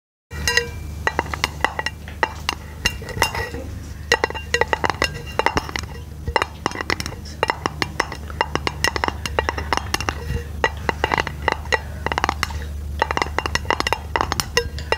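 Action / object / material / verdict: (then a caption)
tap / round aluminum lid / aluminum / none. A flat, round, hollow silver aluminum lid is held over the microphone and tapped and scratched with long pink painted nails. Many quick, sharp metallic clicks and light scratches come in dense bursts, each with a short, bright ring around 900 Hz, over a steady low hum.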